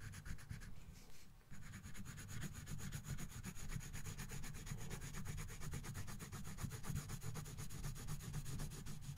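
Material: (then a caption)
Paper. A colored pencil held in the right hand shades a thin paper coloring book page lying on a box, rubbing and scratching across it in rapid back-and-forth strokes. The sound is a steady, dense rasping scratch, mostly low and muffled with faint bright edges, and it continues almost without pause after a brief lull near the start.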